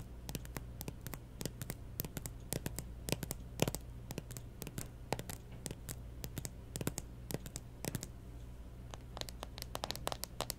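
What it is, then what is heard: Plastic handheld game console tapped with nails. Long nails tap and scratch the lid of a closed, hollow pink plastic Nintendo 3DS XL lying on a table, with stickers on the lid. Dozens of quick, dry clicks and scrapes with bright, hollow plastic ticks land in an irregular stream and die away almost instantly, over a steady low hum.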